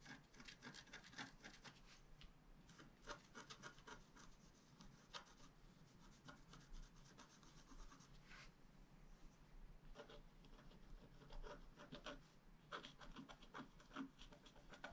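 A wooden stylus held in the right hand scratches lines into the coating of a flat, black-coated scratch-art card. Quiet, dry, raspy strokes come in quick, uneven bursts, each with a bright, papery hiss above a soft low rumble. Short pauses separate the bursts of scratching.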